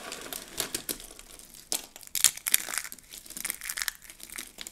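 Hands grab handfuls of dry, rolled soap curls and their fragments and crush them. The result is a run of bright, crisp crinkling and crunching bursts with almost no low end, dry and without ring. Louder crunches peak in the middle of the clip.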